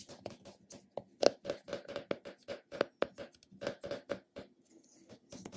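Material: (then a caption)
Plastic. A round, flat, hollow purple plastic cosmetic container is held in a palm while fingertips and short nails tap and scratch its top and side. About fifteen quick, light hollow taps with a dull plastic tone around 570 Hz are heard, mixed with soft, bright scratching. Each tap dies away almost at once.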